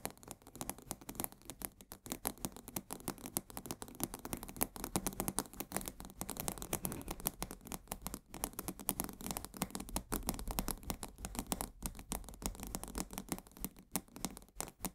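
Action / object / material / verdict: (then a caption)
scrape / cardboard box of coarse salt / cardboard / none. A full 1 kg cardboard box of coarse salt is held and turned while fingernails scratch its sides. This makes a dense, continuous run of fast, dry scratching and crackling with no ring. There are brief dips around 2, 8 and 14 seconds.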